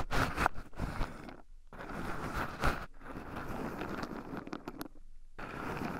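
Two wooden chopsticks stir and poke through a small wooden bowl heaped full of shelled raw pine nuts, with two black microphones buried in the pile so the nuts also rub against them. The result is a dense, close-up rustling and crunchy scraping with a few sharper clicks, broken by two brief pauses of near silence.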